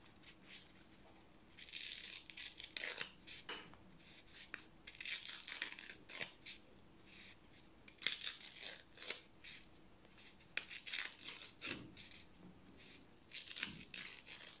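Fingertips with long nails slowly tear small pieces from a long, narrow strip of thin white printed paper. Soft, crisp ripping bursts, bright and papery with little low end, come in short runs separated by quiet pauses.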